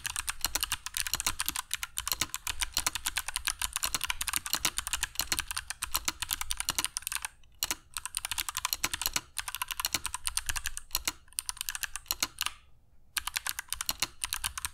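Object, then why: Mechanical keyboard with plastic keycaps. Fingertips of both hands type continuously on a compact black mechanical keyboard with dark PBT plastic keycaps and Kailh Box Jade switches, resting on a cork desk mat. The result is a fast, steady stream of sharp, bright clicks with very short decay, broken by a few brief pauses.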